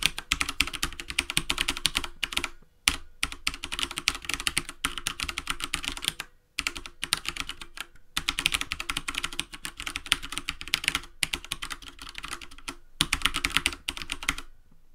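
Fingertips type continuously on a black plastic computer keyboard resting on a wooden desk. Rapid, bright, dry key taps run in quick bursts, broken by a few brief pauses.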